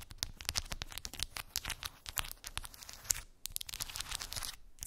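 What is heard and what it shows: Long pink acrylic nails tap and scratch across a small, flat cork board covered with rows of round wooden beads. The result is a rapid, uneven stream of dry, bright clicks and rasping scratches with almost no ring, plus a brief near-silent gap partway through.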